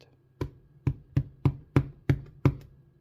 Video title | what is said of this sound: Making Danish White Bread - Start to Finish | if it sounds Hollow which it does then it's done